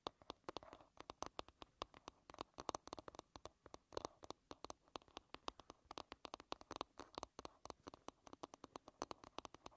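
Long red nails tap and scratch the smooth, flat wooden back of an oval hairbrush lying bristles-down. A quiet, rapid stream of sharp, dry clicks centered around 1 kHz, each dying almost instantly, is interspersed with soft brushing scratches.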